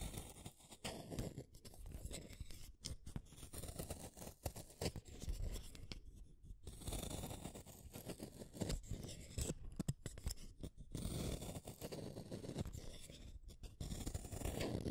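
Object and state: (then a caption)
Wooden pencil being shaved with a blade. A solid blue wooden colored pencil is shaved with a small metal blade, peeling off curls of wood. Repeated dry scraping and shaving strokes rasp along the pencil in quick bursts, with brief pauses between them and very little ring after each stroke.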